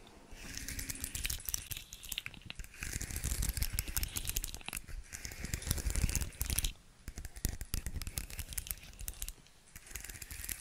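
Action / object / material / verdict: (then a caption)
tap / segmented plastic fidget toy / plastic / none. Long nails tap and scratch across the segments of a hand-sized, hollow, segmented rainbow plastic fidget slug toy held close to the mic. The result is a dense, rapid stream of bright plastic clicks and scratchy rasps over a hollow, low thumping body. It comes in bursts with brief lulls near 7 and 9.5 seconds.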